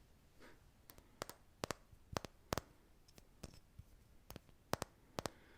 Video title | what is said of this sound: Intro To Tapping (ASMR) | What I have for you is a light bulb, a Christmas tree light. It's a little difficult to tap.